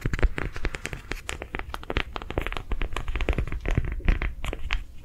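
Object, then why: Ridged soft rubber sensory ball. A lime green, ridged, soft rubber sensory ball, palm-sized and hollow, is held in the hands and tapped and scratched along its ridges with long nails. Rapid, closely spaced taps mix with scratchy, crackling strokes, each one short and dry, with a soft, low, thumpy body under brief bright clicks.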